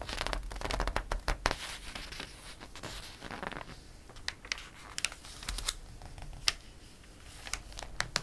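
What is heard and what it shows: Fingertips and a palm rub the pages of a glossy paper catalog and a page is turned, giving soft, continuous papery swishing and crinkling. Sharp, bright ticks and snaps punctuate the rubbing throughout, with a few louder crackles near the start and toward the end.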